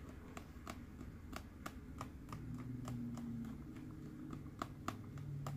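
A green, hollow plastic Mike Wazowski sipper cup is held in both hands and tapped with fingertips and nails on its body and eye. Light, dry, clicky taps land at an uneven pace, each dying away almost at once, over a steady low rumble.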